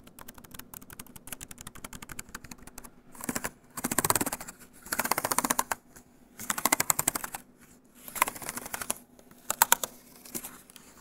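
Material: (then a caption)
Plastic. Fingertips type and tap rapidly on the plastic keys of a grey plastic EXO laptop keyboard. Light, steady clicking at first gives way to louder bursts of fast tapping separated by short pauses. Each click is crisp, bright and dry, with almost no ring and little low end.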